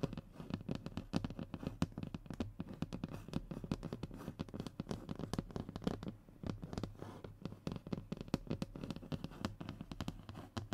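Short fingernails rapidly scratch and tap the speckled surface of a thin, solid, flat brown hardboard (fiberboard) panel lying on a table. Dense, dry scratching is broken by quick taps that stop short, with most of the energy in a dull low thump and little brightness. The clip stays at a steady, quiet level throughout.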